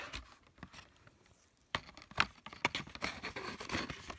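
Fingertips and nails scratch and rub along the flat top edge of a small printed cardboard box of scented markers, with the markers inside. Soft, dry scratching comes in uneven bursts, with a near-silent pause before a sharp, bright scrape and then denser, rougher rubbing to the end.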